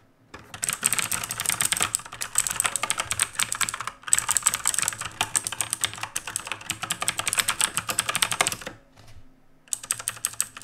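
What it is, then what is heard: Mechanical keyboard with plastic keycaps. Fingertips type continuously with both hands on the plastic keycaps of a black RGB mechanical keyboard resting on a wooden desk. Rapid, bright, clicky keystrokes come in dense bursts, with very little low end. There are brief pauses near the 4-second mark and again just before 9 seconds.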